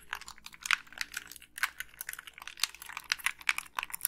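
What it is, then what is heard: Plastic game controller. Long pink nails click the buttons and tap the shell of a hollow black Xbox 360 plastic gamepad. A quick, irregular run of crisp, dry clicks and taps sounds bright and light, with almost no low end. Each one stops instantly with no ring.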